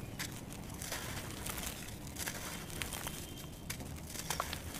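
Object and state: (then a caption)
Dry crumbly sand cement. Fingertips press, rub and crumble the surface of a mound of grey dry sand cement on the floor, breaking it up, then a hand picks up a solid palm-sized chunk of dry cement. A steady, gritty crunching and crinkling runs throughout, with sharp, bright crackles as pieces break away over a low rumbling bed.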